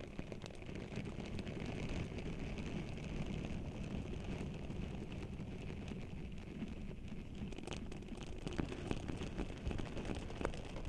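Both hands with long nails rub and squish a pink silicone scrubber pad over the bare, hollow silver metal mesh grille of a Blue Yeti microphone. The result is a steady, dense rubbing texture dominated by low, muffled rumble, with soft scratchy crackles and a faint brighter band running through it for the whole clip.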